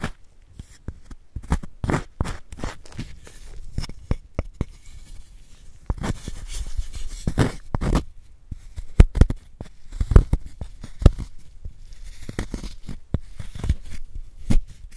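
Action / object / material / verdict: scrape / block of gym chalk scraped with a wooden spoon / chalk / none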